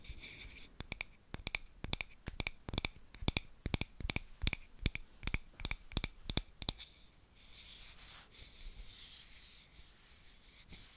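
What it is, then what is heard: Frosted glass candle holder. A palm-sized, hollow, frosted yellow glass tealight holder, held in both hands, is rubbed and scratched across its surface with fingertips and nails. For the first seven seconds, crisp, bright scratching clicks come in quick, uneven bursts. After that, the sound shifts to a softer, continuous, high rubbing hiss.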